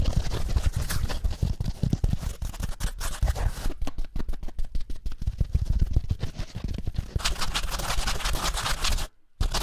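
Fingertips and nails rapidly tap and scratch a rectangular kitchen scrub sponge of yellow foam with a green abrasive scouring pad, held close to the mic. It produces a dense, fast run of rough scratches and muffled, bass-heavy taps, with a brighter scraping stretch near the end. The sound cuts to near silence for a moment before a final burst of scratching.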